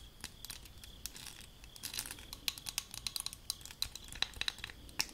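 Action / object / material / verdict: tap / aluminium spray bottle / aluminium / none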